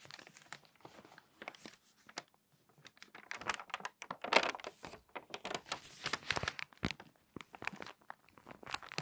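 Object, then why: Glossy paper magazine. An open, crinkly glossy paper magazine rests on a table while fingertips rub a page flat, then the page is turned and creased. Soft rubbing and scattered crackles build into louder, bright, dense crinkling and crunching bursts through the middle and second half, with short pauses between them.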